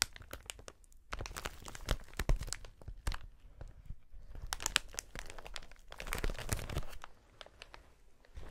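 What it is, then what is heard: Plastic air-cushion packaging sheet. A wide clear plastic air-cushion packaging sheet with air-filled chambers is held up with both hands, gripped and flexed. It gives off dense bursts of crinkling and crackling with sharp bright snaps and a heavy low rustle. The bursts are separated by short quieter pauses.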